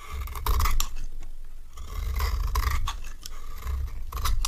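A metal knife scrapes a solid rectangular dry orange bar soap into orange shavings. The result is a steady series of dry, crisp scraping strokes with bright, high edges over a deep low rumble, swelling and fading across the clip.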